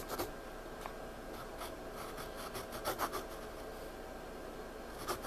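Fingertips rub across a page of a spiral-bound paper sketchpad lying flat, then a pencil scratches and shades on the paper. Soft, dry rubbing gives way to bright, raspy scratching strokes, with a few louder scrapes standing out over a quiet, steady hiss.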